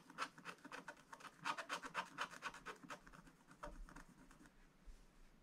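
A wooden stylus tip scratches a black coated scratch-art page in a spiral book, making continuous strokes across a drawn barn roof. Quick, uneven, dry scratching strokes carry a bright, papery rasp. They grow softer and sparser toward the end.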